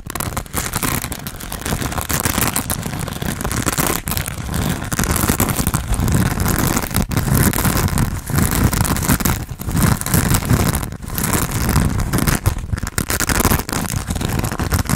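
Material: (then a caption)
Foam. A hand-sized, grey, textured foam sponge on a tan foam base, solid and porous, is held in both hands and scratched quickly with fingernails. The result is a dense, continuous rasping scratch with a heavy low, muffled rumble and only a faint bright edge. It stays at a steady level throughout, with brief dips between bursts.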